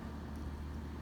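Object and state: Nothing is struck.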